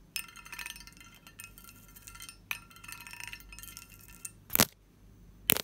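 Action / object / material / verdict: tap / textured cut-glass lidded dish / glass / none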